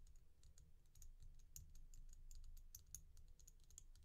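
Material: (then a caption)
Resin. Long painted nails tap a single resin bead stretch bracelet of solid glossy beads, making quick, irregular, bright clicks with very short decay. A steady low rumble runs underneath throughout.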